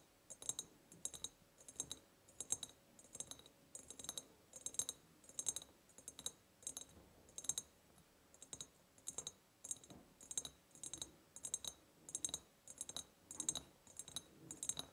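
Long painted nails tap quickly on the sides of a large, empty, hollow ribbed glass jar. The result is bursts of bright, sharp clicks with almost no low end, each dying away almost instantly.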